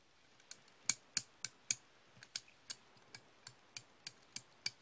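Solid steel slip-joint pliers are held in the hand and their jaws opened and closed, so the pivot clicks and the jaws clack. Thirteen short, bright metallic clicks come at an uneven pace, each dying away almost at once over a quiet background.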